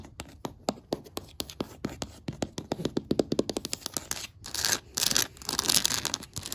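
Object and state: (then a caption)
Wooden floorboards tapped and scratched with nails. Long matte black acrylic nails tap quickly on a flat, solid oak-grain wooden floor or table surface, making a steady run of short, dry clicks with almost no ring. They then scratch across the wood in bright, hissy bursts, and a brush briefly comes into play.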